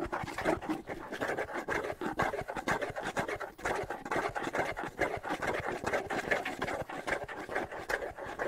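Fingertips scratch the stretched skin head and hollow wooden shell of a small hand-held bongo drum held in one hand. The result is a dense, steady run of quick, irregular dry scratching strokes, mostly in the midrange with a faint hollow resonance.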